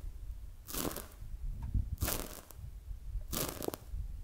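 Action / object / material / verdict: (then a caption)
scrape / polyurethane foam squishy toy / polyurethane foam / none. A palm-sized, solid polyurethane foam squishy toy shaped like a glazed donut is held in both hands, squeezed and tapped with long acrylic nails and fingertips. Soft crunchy, crinkling bursts with a bright hiss come and go over a low, steady rumble.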